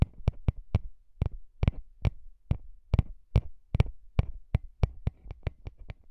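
Fingertips tap and rub the small, hollow metal grilles of the microphone capsules on a recorder. There are 19 quick, dull, low thumps at a steady pace, with soft rubbing between them. Each tap dies away almost at once.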